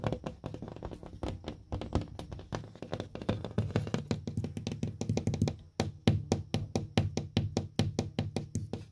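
Open-hand fingertips tap and knock on a flat, solid purple paper-faced gypsum drywall panel marked with chalk and a small dent. A rapid, uneven run of short, dull knocks gives way to steadier, more evenly spaced taps. The taps are low and thuddy with little bright content and a quick, dry decay.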